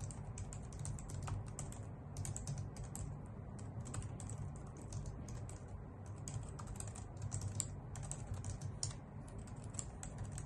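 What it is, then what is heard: Plastic computer keyboard being typed on. Long nails and fingertips type on a white full-size plastic keyboard with hollow key caps, making a steady stream of quick, bright clicky taps. The taps are short and dry over a constant low hum.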